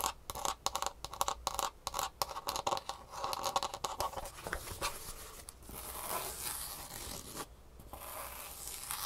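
A green Superfeet foam insole with a rigid plastic heel cup and rivets, held in one hand, is tapped and scratched with long fingernails on its underside and top surface. Quick, sharp clicking taps fill the first four seconds, then give way to a steady, bright scratching rasp with a brief lull near the seven-and-a-half-second mark.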